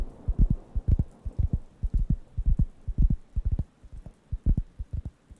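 A round, flat, thin, solid wooden (cork-like) coaster is held near the microphone and scratched and tapped with the fingertips. The result is a quick, uneven run of dull, deep thumps, about two per second, that stop dead with almost no ring, with faint scratching between them.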